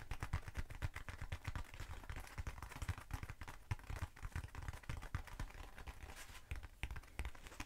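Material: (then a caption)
Foam. A short black textured foam cylinder held in the hand is tapped and scratched with long acrylic nails. Quick, dry, dull taps follow one another in a dense, uneven run, mixed with soft scratching. Each tap is muffled and low-heavy and dies away almost at once.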